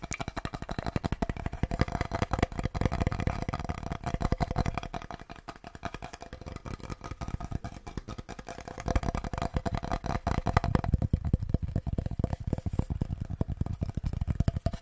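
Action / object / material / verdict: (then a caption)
tap / wooden chopping board / wood / none. A small wooden chopping board is tapped rapidly and continuously as an ASMR trigger, producing dense, dull low thuds with almost no ring. The tapping softens for a few seconds in the middle before picking up again at full intensity, with a faint steady tone running underneath.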